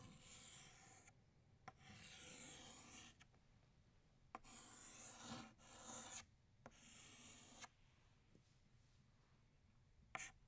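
An orange chalk stick scratches across a flat black chalkboard, outlining a second flower. Bright, raspy strokes of steady scraping are separated by short pauses, with a few light taps and a final quick scrape at the end.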